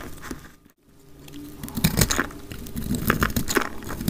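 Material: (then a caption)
Soap. A round, solid pink bar of dry soap is held in the hand and scraped and cut with a utility knife blade, played back at double speed. Dry, crumbly scraping and crunching crackles continue throughout, broken by a brief silence just before the first second. Then come denser, louder gritty cuts with sharp bright crackles.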